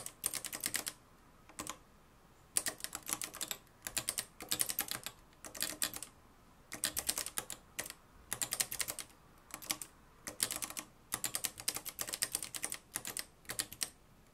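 A mustard-yellow, plastic-cased manual typewriter with a metal mechanism is typed on continuously, fingertips striking its dark plastic keys. Quick, bright, clicky keystrokes come in bursts separated by short pauses, each strike sharp with almost no ring.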